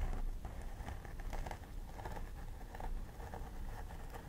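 Long nails on both hands pick and scratch at the part line of a life-size plastic doll head with synthetic hair. Soft, crisp scratching and rustling bursts repeat over a steady low rumble, keeping the whole clip quiet.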